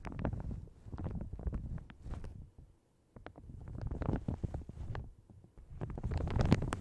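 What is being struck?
Plastic shower cap stretched over a microphone.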